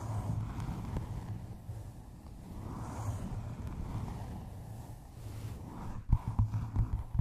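Long nails tap the cover and top edge of a hardcover book wrapped in a paper map, resting on a microphone. A deep, muffled rumble of soft thumps fills most of the clip, then four sharper knocks stand out near the end.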